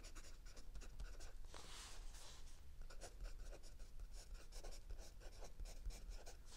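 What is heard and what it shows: A mechanical pencil writes in continuous strokes on a lined paper page of a spiral notebook resting on a wooden desk. The quiet, steady scratching comes in short, dry, bright strokes that blur together over a low background rumble, with a longer hissing stroke near the two-second mark.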